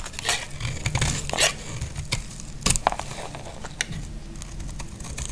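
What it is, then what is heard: Dry bar soap scraped with a blade. A solid, dry green bar soap is scraped with a utility knife blade, and the curls fall onto denim. Short bright scraping and crinkly shaving sounds repeat irregularly over a low, steady rumble. Several stronger strokes stand out near the middle.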